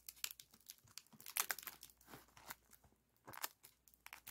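A silver aluminum foil flexible ventilation duct with spiral wire ribs is compressed and pulled open while fingertips squeeze and crinkle the hollow foil. The result is a quiet, dense run of bright, crisp crinkles and crackles with sharp, quickly fading snaps and almost no low end.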